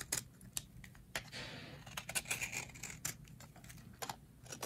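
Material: Soap.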